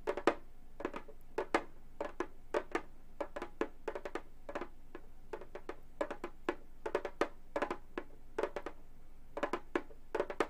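A round Remo frame drum with a synthetic skin-look head, hollow and lying flat, is tapped with long gold metal finger claws on both hands. Quick, irregular taps give short, dry, hollow thumps around 340 Hz with sharp, bright clicky edges that die away almost at once. The taps come in loose clusters over a quiet, low hum.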